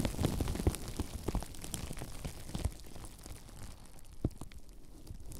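Clear plastic bubble wrap bunched around a microphone is squeezed and crinkled by the fingers of both hands. It makes dense, irregular crackling and sharp, short snaps, loudest and busiest at the start. The crackling then thins to a softer rustle, broken by one distinct louder snap near the end.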